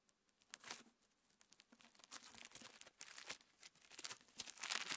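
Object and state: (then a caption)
Clear slime with plastic star sequins. Fingertips squeeze, fold and pinch a palm-sized lump of clear pinkish slime packed with plastic star sequins above a wooden table. Soft, bright crinkling and crackling with quick wet clicks comes in irregular bursts, with almost no low end. The sound grows busier and louder toward the end.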